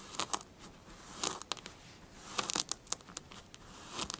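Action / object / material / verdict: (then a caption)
scrape / kinetic sand / sand / none. Long blue fingernails scratch and rake across a smooth, flattened surface of pink kinetic sand. The result is a run of quiet, crunchy, crackling scrapes and short bright clicks over a soft hiss, with almost no low end.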